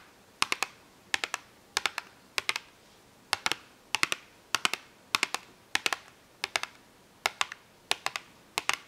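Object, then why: Small cardboard box of markers. A small cardboard box full of washable markers is held up and tapped and scratched with long acrylic nails. Short, dry, bright clicks come in quick clusters of two or three, spaced steadily across the clip with quiet gaps between them. Each click dies away almost at once, with no low rumble underneath.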